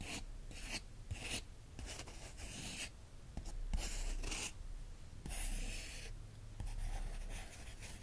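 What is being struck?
Glossy paper magazine page.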